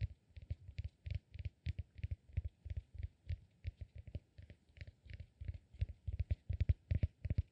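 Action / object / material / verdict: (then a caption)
tap / cork peanut massage ball / cork / none. A solid peanut-shaped cork massage ball is held in one hand while fingernails scratch and tap its upper lobe. The result is a quick, irregular series of short, dull, low-pitched knocks with a faint papery scratch on top. Each hit dies out almost instantly.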